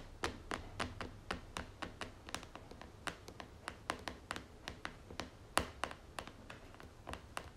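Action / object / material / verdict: tap / plastic cream jar lid / plastic / none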